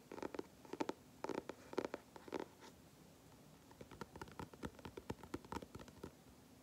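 Fingertips tap and scratch the flat dark grey cardboard cover of a large spiral sketchbook held upright, with one finger tracing near the spiral edge. Quiet, dry, papery taps and scrapes come in short bursts, pause briefly, then return as a quicker run of lighter taps. Each sound dies away almost instantly.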